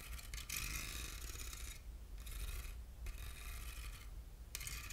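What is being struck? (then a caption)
Ribbed aluminium box. Short fingernails scratch along the grooved ribs of a small, hollow, silver ribbed aluminum box. Each stroke makes a bright, rasping scrape, and the strokes come in repeated passes with brief quieter gaps between them, over a low steady hum.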